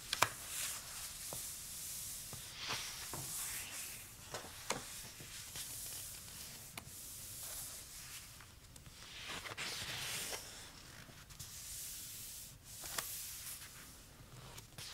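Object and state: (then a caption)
Paper notebook pages being rubbed. Fingertips of both hands with short nails trace and rub over the uncoated paper pages of an open notebook with a pink hardcover. The result is a quiet, bright, hissy rubbing that swells and fades in slow strokes, with occasional small sharp ticks and scratches of nails on paper.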